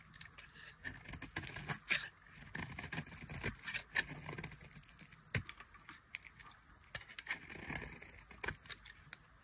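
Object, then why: Soap bar shaved with a metal blade. A solid, dry soap bar with an orange rim is held in the hand and shaved with a metal blade. Quick, crisp scraping strokes are heard, bright and hissy, with short dry crackles and a faint low rumble underneath. The strokes come in uneven bursts across the clip.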